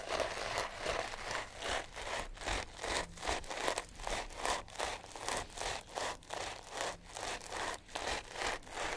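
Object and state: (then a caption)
Sisal rope cat toy being scratched. A sisal rope wrapped cat toy is held in the hands and rubbed and scratched with nails and fingertips. About 18 quick, dry, rasping strokes come in a steady back-and-forth rhythm, broadband and bright with little low end.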